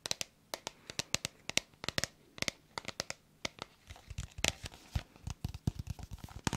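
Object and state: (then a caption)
Plastic bottle tapped with fingernails. Long nails tap and scratch on a hollow red plastic bottle with a white cap, held in both hands. Dozens of quick, dry, bright clicks land in uneven bursts, each dying away almost instantly. Toward the end they blur into a busier crinkly scratching with soft low thumps underneath.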